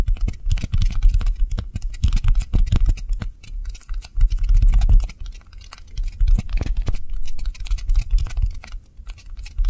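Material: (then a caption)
Styrofoam. Two small, white, solid styrofoam balls of the same kind, one held in each hand, are rapidly tapped and lightly scratched with long nails. The result is a fast, uneven patter of short, dull thuds with crisp, bright scratchy ticks over them, each tap dying away almost at once.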